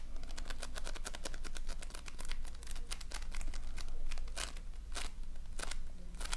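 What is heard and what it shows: A flat patty of multicolored floam, polystyrene foam beads in slime, is pressed and patted repeatedly with fingertips and nails. This makes a dense run of sharp, bright crackling and crunching pops over a steady low hum.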